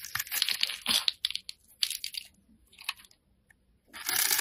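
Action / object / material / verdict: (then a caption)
scrape / bar of soap scraped with a metal blade / soap / none. A solid, hand-sized oval pink soap bar is held in the hand and scored and scraped with a metal utility blade, with a purple bar lying untouched below. Bright, crisp scraping and crunchy tearing strokes come in bursts with short quiet gaps, ending in a louder, sustained scrape.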